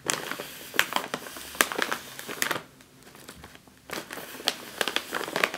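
A sealed, puffed, metallized foil snack chip bag is tapped with the fingertips and nails, then pressed. Sharp, bright crinkling clicks and crackles come in quick bursts, with a brief quieter lull partway through before the crinkly taps resume.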